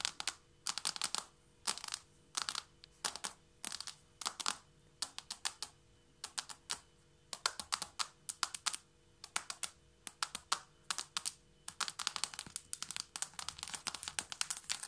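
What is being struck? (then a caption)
Wooden or laminate floor. Long nails of both hands tap a flat wooden or laminate floor in a fast drumming pattern. The result is quick bursts of sharp, bright clicks separated by short pauses, with almost no low end and no ring after each tap.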